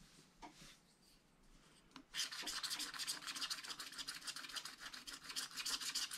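A wooden stylus scratches and rubs fast across a flat spiral wax-coated scratch-art paper pad, removing the black coating over a coloured layer, while a brush lies unused at the side. A few faint scrapes in the first two seconds give way to a dense run of quick, bright, hissing strokes that continue to the end.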